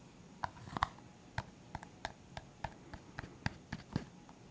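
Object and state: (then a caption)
Clear plastic cup. A clear, hollow, empty disposable plastic cup is held sideways and tapped on its side with the fingertips. About fourteen short, dry, light taps come at an uneven pace, each with a hollow plasticky tick near 1 kHz and almost no ring. The taps sit over a quiet low background hiss.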